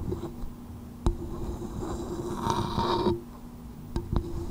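Long nails tap the dome of a small, hollow coconut shell bowl resting upside down on a microphone, giving sharp, short clicks with a hollow knock. Between the taps, a softer rubbing sound swells and then cuts off, over a steady low hum.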